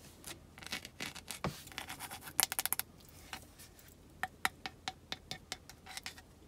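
Long acrylic nails scratch across the ridged, logo-stamped surface of a large, solid, rectangular green olive Marseille soap bar with a rope loop, held unwrapped in the hands. The result is a run of quick, dry, bright scratches and taps, some brushing strokes and some sharp clicks, with very little low end.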